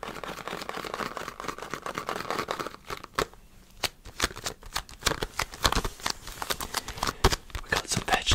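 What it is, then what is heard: Cardboard stock cube box. Fingertips and nails grip, tap and squeeze a small green printed cardboard box of stock cubes. The result is a fast, dense run of dry, crisp papery taps and crinkly rustles, with a short quieter gap near the middle. Sharper, bright clicks punctuate the second half.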